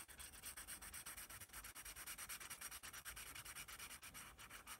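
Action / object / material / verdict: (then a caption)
scrape / pencil on a paper sketch pad / paper / none. A yellow pencil shades and rubs across a white paper sketch pad bearing a letter A, using fast back-and-forth strokes. The result is a steady, bright, scratchy hiss that pulses with each stroke, about three strokes per second, with little low end.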